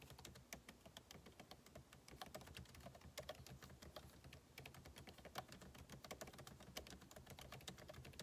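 Two hands type fast with their fingertips on a MacBook Pro's backlit laptop keyboard, whose plastic keycaps sit in a hollow aluminum case. The result is a steady, continuous stream of quiet, short, clicky key taps with a bright edge and a soft low thump underneath.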